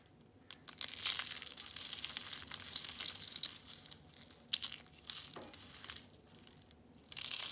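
Orange and lime dried soap curls, rolled into thin sheets, are picked up and crushed with the fingers. They give dense, bright crackling crunches in bursts, with quieter gaps of light rustling between them. The sound has almost no low end and stops dead after each crunch.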